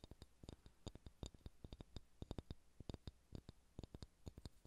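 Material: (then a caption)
Wood. Fingernails tap and scratch a solid ball of pale pine wood, making 29 quick, dry clicks with no ring. Each click has a low thud under a faint bright tick, and a soft scratchy texture fills the gaps between taps.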